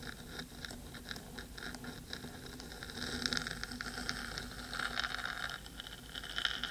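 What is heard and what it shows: Long pointed nails scratch the black metal body of a 3Dio microphone while a second hand rests near the ear rim. Dense, quiet scratching and rapid patter carry a bright hiss centered around 3 kHz. The scratching grows slightly louder and busier in the second half, with short crisp peaks near the end.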